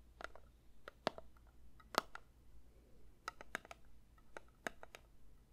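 A metal candle tin is lightly tapped with the fingers, giving a quiet, unevenly spaced series of short, dry clicks. Each tap has a small metallic tone around 1.3 kHz with a bright edge and dies away almost at once.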